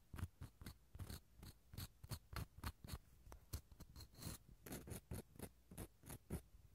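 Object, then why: Dried gourd shell half scraped with a wooden pick. The inside of a small, empty, hollow dried gourd shell half is scraped with a wooden toothpick in a quick series of about two dozen short strokes. Each stroke gives a dry, scratchy rasp with a low hollow body and a faint bright edge, and it stops dead with no ring.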